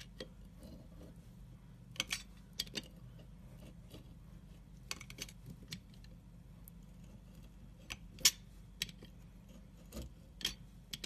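A pointed scoring tool cuts lengthwise grooves into a solid dark brown stamped soap bar held in the hand. Fourteen short, crisp, bright scratching clicks come at irregular intervals, each dying away almost instantly over a quiet low hum.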